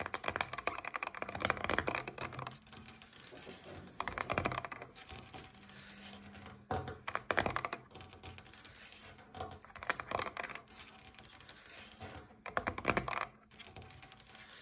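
Long nails tap rapidly on the top face of a paperboard coconut water carton lying on its side on a table. The result is a stream of dry, clicky taps with almost no ring, swelling into louder, brighter flurries every few seconds over a faint low hum.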